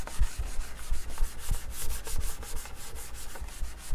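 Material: Wood laminate.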